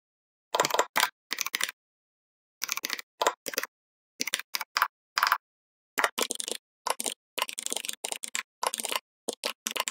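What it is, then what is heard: Plastic membrane keyboard being typed on. Rapid fingertip key taps from both hands on a full-size backlit plastic membrane gaming keyboard with red lighting. The taps come in quick, bright, clicky bursts with no low end, broken up by short silent pauses.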